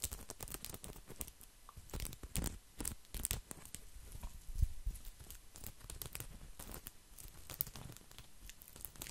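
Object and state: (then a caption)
Woven straw placemat, scratched. A round, flat, coiled woven straw placemat is scratched and rubbed with fingertips and nails, making a quiet, dense run of dry crackling scratches and soft rustles. The short, bright, clicky transients sit over a low rumble.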